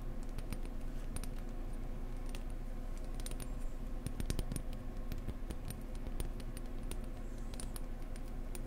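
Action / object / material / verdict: tap / decorative egg / unknown / none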